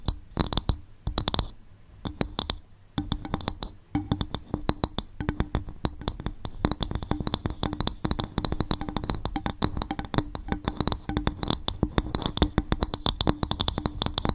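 Fingers tap and scratch quickly on a bowl made from coconut shell. Rapid, dry clicks with a soft low thump and a bright edge die away almost instantly, with brief pauses near the start before a steady flurry.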